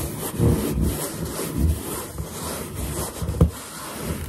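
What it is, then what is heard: Latex balloon being rubbed. Finger pads rub quickly over a large, hollow, inflated white latex balloon, making squeaky friction sounds. The rubbing comes through as a steady, low, rumbling drag centered around 78 Hz, with one sharper bump near the end.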